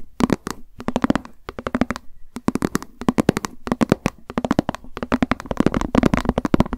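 Long acrylic nails tap quickly on a small, hollow, white plastic lunch box with a cat print, held in the hands. Dozens of short, dry clicks come in rapid bursts with brief pauses between them. Each tap carries a hollow, low-mid knock that dies away almost instantly.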